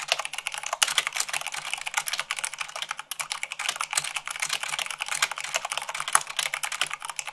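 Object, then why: Plastic mechanical keyboard. Rapid typing on a white plastic mechanical keyboard with fingertips and long nails produces a dense, continuous stream of sharp, bright clicks and clacks. The keystrokes run together too quickly to separate, with almost no low end and very short ring.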